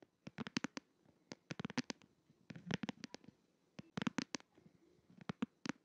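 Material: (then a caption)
Plastic. Fingertips and nails tap and scratch the glitter back of a plastic case on a smartphone held upright in both hands. The result is quick, dry clicks in uneven bursts, each with a bright edge and a soft low thump, with faint scratching between them.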